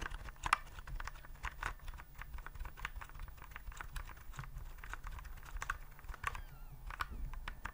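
Fingertips press the keys of a white plastic typewriter-style keyboard with round keycaps, held upright. A steady run of quick, crisp plastic clicks and taps is heard, with bright click edges centred around 1.2 kHz over a faint low background hum.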